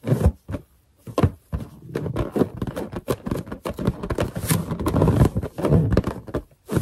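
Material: Latex.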